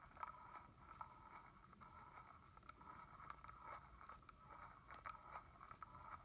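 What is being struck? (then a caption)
Plastic spray bottle with plastic cap. Fingernails tap repeatedly on the hollow red plastic cap of a liquid-filled red plastic body-mist bottle held horizontally. The taps are quiet, light, hollow clicks with a mid-pitched tone around 1.3 kHz that dies away almost instantly. A faint steady hiss runs underneath.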